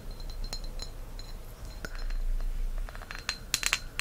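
A green pressed-glass candle holder, thick solid glass with a cup on top, is held in the hand and tapped with fingertips and nails. Irregular, quick, bright glassy clinks and ticks die away almost at once over a quiet low rumble, with a cluster of sharper taps near the end.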